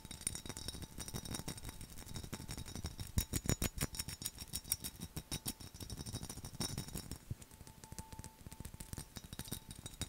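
A mid-sized, hollow black textured glass mug with a skull relief, a handle and a lid on top, possibly full or empty, is tapped and scratched fast with fingernails and fingertips. Quick, uneven bright clicks and clinks with very short ring come in dense runs, with louder bursts of taps in the middle of the clip over a soft scratchy texture.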